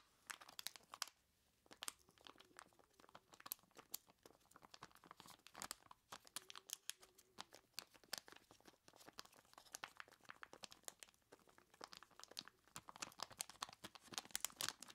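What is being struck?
Plastic bag of ice cubes.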